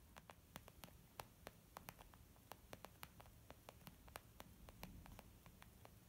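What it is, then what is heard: Leather makeup bag. Long painted nails and fingertips of both hands tap on a white, textured leather zip makeup bag lying flat and hollow. The result is a rapid, irregular run of sharp, dry clicks with bright ticks and almost no ring, set over a soft, steady low hum and hiss.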